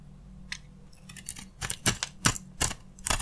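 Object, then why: Dry soap bar scraped with a knife blade. A utility knife blade scrapes and carves crunchy curls off a solid, palm-sized oval bar of dry soap with a gold coating and TACTO lettering, held in the hand. Short, dry, bright crunching scrapes come in irregular bursts that grow louder over the clip, each cutting off quickly over a faint low hum.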